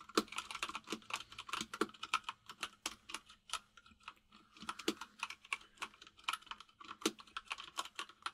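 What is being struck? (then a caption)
Mechanical keyboard with plastic keycaps. Both hands type rapidly with their fingertips on a white full-size mechanical keyboard with plastic keycaps resting on a desk. The result is a quick, uneven stream of short, bright clicky taps that die away almost instantly, with a faint steady low hum underneath.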